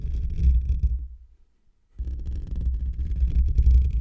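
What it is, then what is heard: Metal mesh microphone grille being scratched. Fingertips and short nails of both hands scratch a hollow metal wire-mesh microphone grille, producing a deep, boomy, rumbling rub concentrated in the low end with faint brighter scratch detail on top. The scratching fades out and falls silent for under a second, then resumes abruptly and continues at full strength to the end.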